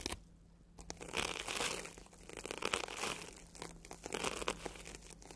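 A red and yellow porous foam sponge, solid and soft, is rubbed and scratched by a bristle tube brush dragged along it. Waves of dry, crinkly scratching rise and fall in repeated strokes, with bright hiss and a faint low hum underneath.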